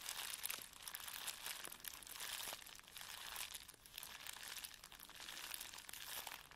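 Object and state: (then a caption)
Plastic bubble wrap sheet being rubbed. A flat sheet of plastic bubble wrap lying on a black table is rubbed and pressed with the flat fingertips and palms of both hands. The result is a steady, bright crinkling and rustling, with faint, quick ticks and crackles scattered through it. The loudness swells and dips as the hands move across the sheet.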